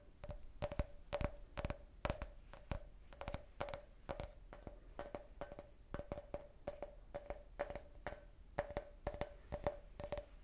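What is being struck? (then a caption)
Can-shaped drinking glass. A clear, hollow, empty can-shaped beer glass with a printed logo is rapidly tapped with fingernails, giving quick, short, bright clicks. Each tap carries a faint ringing tone in the glass, and the taps come in uneven bursts throughout.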